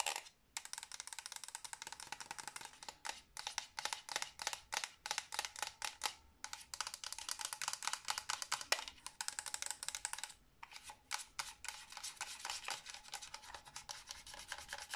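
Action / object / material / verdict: scrape / hard plastic game controller shell / hard plastic / none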